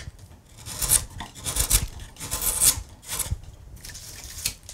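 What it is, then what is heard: Carved wooden panel. A hand rests on a large, solid carved wooden panel with leaf relief, then a steel gouge pares and cuts into the carved surface. Irregular rasping, scraping strokes carry a bright hiss over soft low thumps, with quieter gaps between the cuts.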